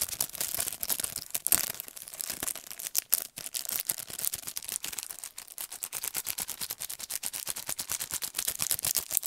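Fingernails rapidly tap and scratch the clear plastic sleeve of a handheld paintbrush set in plastic and cardboard packaging. The sound is a dense stream of sharp, bright, crackly clicks with almost no low end, briefly dipping just after the 3-second mark. The taps then continue steadily to the end.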